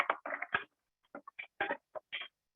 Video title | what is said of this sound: Developmental Toys & Activities for Children Who are Blind or Visually Impaired - Amber Bobnar | That makes a lovely sound, as I'm sure you can hear, as it's going in and out of the container.